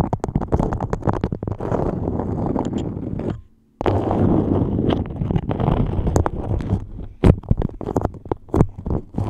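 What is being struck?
Beeswax-coated cotton wrap held over a microphone.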